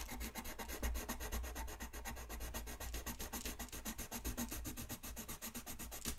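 A colored pencil shades a thin white paper coloring sheet lying flat on a desk, rubbing back and forth in quick, repeated strokes. It makes a soft, dry, scratchy rasp that pulses roughly four times a second over a low steady hum, with a bright, papery edge on each stroke.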